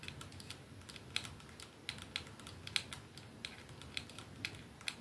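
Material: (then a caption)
Glass. A 212 capsule perfume bottle, glass with a silver band, is held in one palm while the nails of that hand tap it and the other hand's nails tap the glass end. Quiet, sharp, bright clicks come at an unhurried, irregular pace, each dying away almost instantly over a low, steady hiss.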